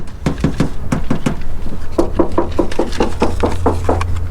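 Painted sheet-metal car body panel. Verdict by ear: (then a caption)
Solid. A series of knuckle knocks on the painted metal side body panel of a repainted car with rippling down the side, checking for hidden damage: short, dull, solid thuds in two runs over a steady low background hum. The panel sounds solid and okay, suggesting no serious hidden damage.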